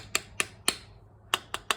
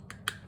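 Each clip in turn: First: Six crisp, high metallic ticks that die away at once: a seated, tight carburetor jet cartridge. Second: Two quick, bright metallic ticks that die at once: the carburetor jet cartridge is still loose.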